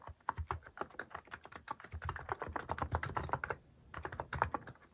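Fingertips type rapidly on a Hanmumu mechanical keyboard fitted with cat-shaped plastic keycaps. The keystrokes are short, clacky taps with a low thock and a mid-range click. A steady burst of typing runs for about three and a half seconds, then a brief pause, then a few more keystrokes.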